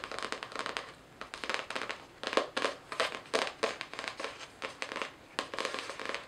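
Long nails scratch and tap the floral cardboard cover of a spiral-bound notebook held upright. Quick bursts of dry, crackly scratching and light taps come in clusters with short pauses between. The sound is thin and papery, with no low end and almost no ring.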